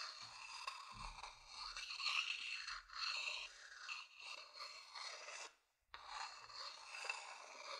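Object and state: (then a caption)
Wooden bowl scratched with a stick. A thin wooden stick scratches the outer base of a medium hollow wooden bowl. A bright, dry rasping sound continues in long strokes with little low end, pausing briefly for a moment of near silence before the scratching resumes.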